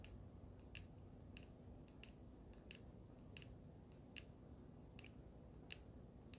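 A small handheld vape mod with a swirled resin panel and a solid metal frame is tapped and scratched with long nails. About eighteen sharp, bright clicks ring out over a quiet, low hum, each dying away almost instantly.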